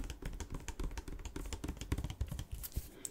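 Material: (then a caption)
Plastic. A clear PET Volvic water bottle with a red cap, partly filled with water, is held in the hand and tapped on its side with fingertips and nails. Quick, irregular taps produce soft, dull low thuds with faint bright clicks, each dying away almost at once.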